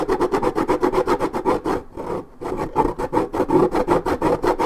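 Long nails scratch intensely along the worn white strip of a hollow, coated paperboard juice carton. Rapid, rhythmic strokes produce a dry, rasping scrape with a hollow midrange body. A brief pause near the middle interrupts the strokes before they resume at the same pace.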